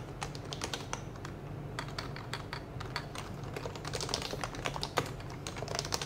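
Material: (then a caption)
Plastic. A child types fast with the fingertips of both hands on a white compact HHKB plastic mechanical keyboard with plastic keycaps, both hands staying on the keys throughout. Dense, rapid clicks and taps with bright, short attacks run continuously over a steady low background hum.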